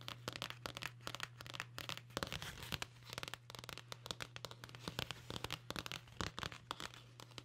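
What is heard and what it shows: Long nails scratch and tap the cover and edge of a dark blue cloth-covered hardcover book held close to the microphone. Rapid, dry, bright taps and crackly scratching come in quick irregular bursts, over a steady low hum.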